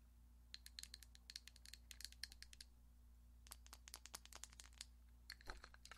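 A small, hollow, clear glass vase filled with paintbrushes and pencils is held in one hand and tapped and scratched on its side with long acrylic nails. Quick, bright clicks with a high glassy ping come in two bursts separated by a short pause, with a faint rattle of the brushes inside. A steady low hum runs underneath throughout.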